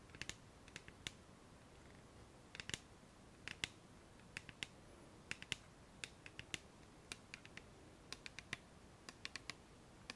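Long nails tap and scratch the printed surface of a clear plastic cylindrical bottle labelled micellar water, with a white cap and filled with liquid. A long series of quiet, sharp, bright clicks rises over a soft steady hiss, each dying away almost instantly with light scratchy texture between them.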